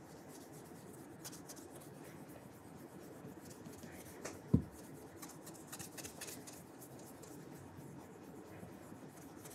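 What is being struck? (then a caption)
Leather dress shoe rubbed with a cloth. A burgundy leather dress shoe with a wooden shoe tree is held in the hand and rubbed with an orange cloth over the fingertips in circular polishing strokes. Soft, steady rubbing and faint scratchy swishes continue throughout, with one short, louder knock about halfway through.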